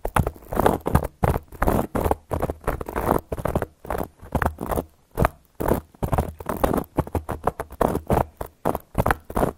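Long gold metal claw nail caps scratch and tap across a round, flat, solid cork board. The result is a steady run of short, dry scratching and tapping bursts with a dull, low-weighted body and almost no ring, separated by brief silences.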